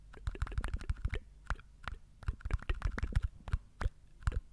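Fingernails tap and scratch the label and cap of a small green and white plastic chewing gum jar with a lid, likely full. A quick, irregular run of short, dry, muffled taps sounds with light scratchy rustles between them. Each tap stops almost at once with no ring.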